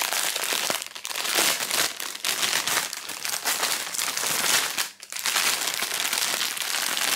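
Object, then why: Thin plastic bag holding knit gloves. A thin, clear, crinkly plastic retail bag with a barcode label, holding black knit slash-proof gloves, is squeezed and handled with fingertips close up. The result is a steady run of bright, dense plastic crinkling, with a brief quiet dip near the five-second mark.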